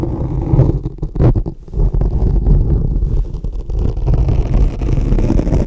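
A hand with long dark-painted nails scratches and pokes a soft, porous, fist-sized black foam microphone windscreen with thin metal tweezers or a pick. The result is a dense, muffled, low rumbling scrape with almost no high end, broken by a brief quieter gap near the middle before the scratching resumes.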